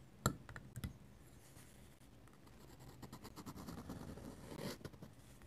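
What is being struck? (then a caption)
Metal-nib dip pen on paper sketchbook page. A metal-nib dip pen scratches lines onto a paper sketchbook page. A sharp tap opens the clip, followed by quieter, quick, papery scratching strokes that thicken into a denser run of bright scratches toward the end.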